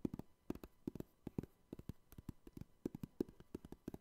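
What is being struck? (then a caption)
Clear hard plastic card cases with cards inside. Fingertips tap and scratch the top edges and faces of joined clear hard plastic trading card cases, hollow with cards inside, held close to the microphone. About 25 quiet, dry, hollow knocks come in an uneven rapid string, each a short low-mid thud that stops at once with no ring and almost no high content.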